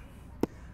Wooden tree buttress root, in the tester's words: totally solid down here